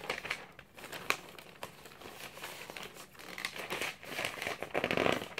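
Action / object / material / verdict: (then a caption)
flick / glossy paper magazine / paper / none. A thick glossy paper magazine is held open in one hand while the other hand turns and flicks its thin pages. The result is a crinkly, bright paper rustle with sharp crackles and flicks and very little low end.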